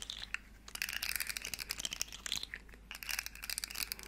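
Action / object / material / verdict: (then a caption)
scrape / segmented plastic slug fidget toy / plastic / none. A small, hollow, rainbow plastic segmented slug fidget toy is flexed and clicked in the hands while long nails scratch its segments. It makes quick, bright, crinkly clicks and scratchy rattles in bursts, with short pauses between them.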